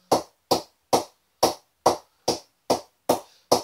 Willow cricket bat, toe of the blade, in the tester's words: ball is still bouncing at a decent height